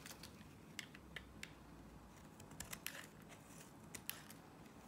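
A box-cutter blade scrapes and slices strips from a solid blue Nivea soap bar. Short, crisp, bright scraping cuts are heard, some sharper than others, over a low background hum.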